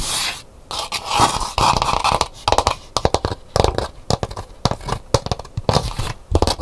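Long nails scratch the inside of a hollow, empty calabash gourd bowl standing upright, its interior painted with hibiscus flowers. Quick, dry scraping strokes come in uneven bursts, with a raspy midrange texture and short hollow knocks. Each stroke stops almost instantly with no ring.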